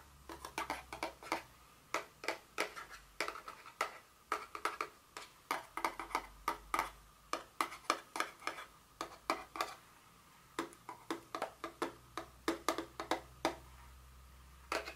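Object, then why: Small paperboard box. Long nails tap and scratch the top and sides of a small blue cube-shaped paperboard Dior fragrance box resting on a table. A steady stream of short, crisp clicks and dry taps, with a faint tone around 1.2 kHz and bright scratchy edges, each dying away almost at once over a low, quiet hum.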